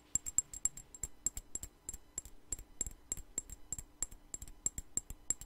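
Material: Glass.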